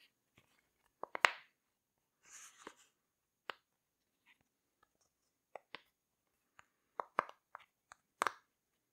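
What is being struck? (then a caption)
Silicone pop-it fidget toy. A rainbow heart-shaped silicone pop-it fidget toy is held up while fingertips press its bubbles and pop them. The result is a quiet, irregular series of short, dry clicks and pops with a bright crunchy edge and almost no ring, plus a brief soft rustle between them.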